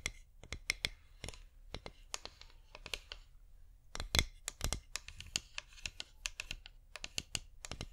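A cream flameless wax pillar candle, about 15 cm tall with a scalloped top rim, is held in both hands and tapped and scratched with long painted fingernails. The result is an irregular run of sharp, bright, dry clicks with almost no ring, mixed with scratchy rasping and a soft low rumble underneath.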